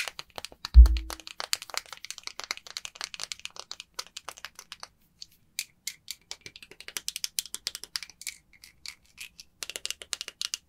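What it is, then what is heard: Bar of soap tapped and scratched with fingernails. A small, dry, unwrapped solid green bar of soap is held in the palm over an empty glass bowl while long white acrylic nails tap and scratch across its surface and the hand grips it. A single low thump opens the clip, then dense, rapid clicks and bright scratchy ticks continue throughout.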